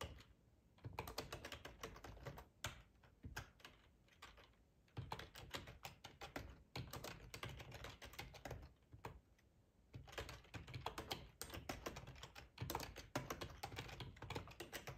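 Fingertips of both hands type fast on a hollow, black plastic split ergonomic keyboard, tapping the keys. Dense bursts of quick, clacky keystrokes with a low, thocky body are broken by brief pauses near 0, 4 and 9 seconds.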